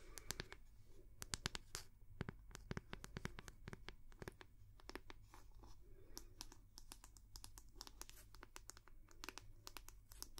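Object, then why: Wooden hair brush back. Long nails tap rapidly on the round wooden back of a hair brush, making dozens of sharp, dry clicks that stop instantly with no ring. The bright, crisp taps land in quick, uneven bursts over a steady low hum.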